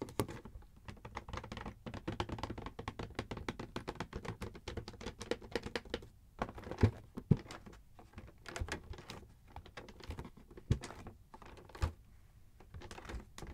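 Long metallic nails tap rapidly on the front of a Schick Hydro Silk razor gift set box, made of printed cardboard with a clear plastic blister window and held in hand. Dense, fast clicky taps with short dull thuds continue through the clip, with a few louder sharp knocks standing out and brief pauses in the rhythm.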